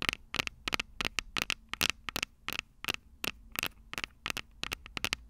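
Long purple acrylic nails, using both hands, tap and scratch the two small cylindrical metal-grille microphone capsules on top of an upright Tascam DR-05 handheld recorder. About 22 sharp, bright clicks and brief scratchy bursts come in an uneven rhythm. Each one stops almost instantly, with a faint low hum underneath.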